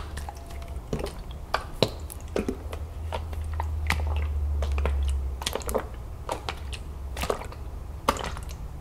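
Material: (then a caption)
Plastic. A large plastic lemonade jug full of liquid is tilted and turned in the hands, its contents sloshing as it is shaken. Irregular, sharp fingernail taps click on the plastic over a steady low rumble that swells midway through.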